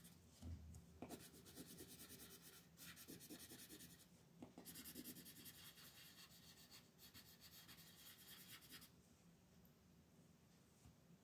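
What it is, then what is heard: Colored pencil shading on paper. A red wooden colored pencil shades a flat white paper mandala coloring page held by fingertips, making quiet, steady scratchy rubbing strokes. Bursts of bright, raspy scraping come and go in rhythmic runs, then fade to a softer hiss toward the end.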